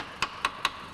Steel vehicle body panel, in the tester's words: good metal has a different sound and i need to emphasize it's only light tapping